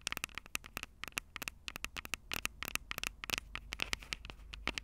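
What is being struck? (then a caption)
Metal-mesh microphone capsules on a handheld recorder, tapped with fingernails. Long purple nails tap and scratch the two small metal-mesh condenser capsules on top of a black plastic Tascam DR-05 handheld recorder, the same recorder capturing the sound. About 29 sharp, dry clicks come in an uneven rapid patter, each bright with a brief metallic tone near 2.2 kHz and almost no ring. Faint scratchy crackle fills the gaps over a low background hum.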